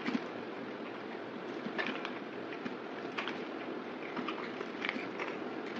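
A yellow box cutter blade scrapes and carves flakes off the surface of a solid, oval, palm-sized white bar of soap held in one hand. A steady, soft, raspy scraping hiss runs throughout, marked by brief, brighter crackling flicks as flakes break away.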